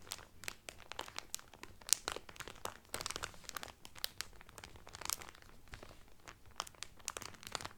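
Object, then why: Cellophane-wrapped cotton towel. Fingertips and nails crinkle clear cellophane wrapped over a folded cotton towel, making a steady run of dense, crisp crackles and quick snaps. The sound is bright and papery with little low end, and a few louder pops stand out from the constant rustle.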